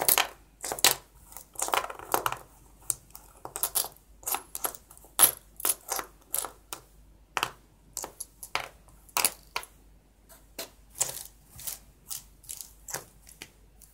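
Fingertips arrange, slide and drop small, solid copper-plated penny coins on white paper, with stacks of coins sitting nearby. The coins clink together in a steady series of short, bright metallic taps with almost no ring and very little low end.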